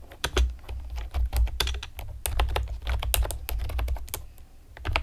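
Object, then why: Plastic computer keyboard. Long painted nails and fingertips rapidly tap a pastel plastic typewriter-style computer keyboard with round retro keycaps and hollow keys. The result is a quick, irregular stream of short, bright clicks and clacks that die away almost instantly, over a steady low hum.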